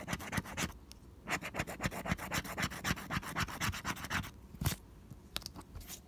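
A small pink plastic scraper scratches the latex coating off a flat coated cardstock scratch-off lottery ticket, no. 041, held flat by fingertips. Rapid, fairly regular back-and-forth strokes of about four per second make a dry, bright, raspy scratching. The strokes slow near the end, with a louder scrape just before the pace thins out into a few sparse final scratches.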